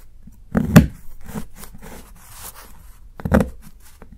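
A solid, segmented dark chocolate bar held by the fingertips is shaved along its cut edge with a steel kitchen knife in a few strokes. Each stroke gives a short, dull, low scraping crunch with no ring, separated by quiet, faint rustling.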